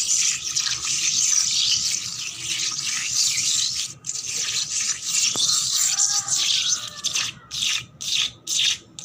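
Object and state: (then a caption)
Wet concrete floor being scratched. Long black nails scratch fast across a solid, wet painted concrete floor covered in water droplets, making a continuous bright, hissing rasp. Toward the end the scratching breaks into short separate strokes with brief gaps between them.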